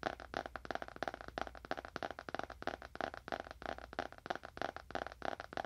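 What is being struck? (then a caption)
Leather-bound book. Fingernails tap quickly on the cover and edges of a dark, solid leather-bound book held horizontally in both hands. The taps come as a rapid, uneven stream of short, dry clicks centered in the midrange, each dying away almost instantly with no ring.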